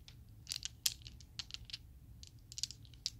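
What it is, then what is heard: Acrylic dice set. A set of small, solid Chessex acrylic polyhedral dice is squeezed and shuffled by fingers with long nails, then shaken in the palm. About eleven sharp, bright plastic clicks and clacks ring out in quick, uneven bursts, each dying away almost instantly over a faint low rumble.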